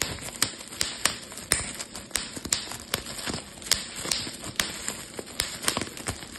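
A clear plastic bubble wrap sheet is pinched and twisted between fingertips, popping its bubbles. The result is an irregular run of sharp, bright pops with very short decay over a steady crinkling, hissy rustle.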